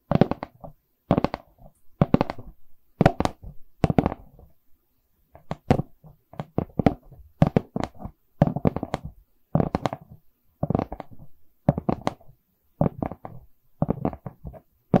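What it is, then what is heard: Wooden canvas board. A wooden canvas board is tapped in quick bursts of short, dry knocks separated by brief pauses. The taps have a hollow, low-mid body and stop almost instantly with no ring.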